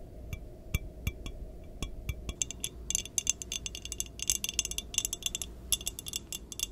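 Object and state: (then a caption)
Glass measuring jar. Long nails tap rapidly on the sides of an empty clear glass measuring jar with markings and no lid, held in both hands near the mic. Short, bright glassy clinks start sparse, then come quicker and denser over a faint low rumble, each dying away almost instantly.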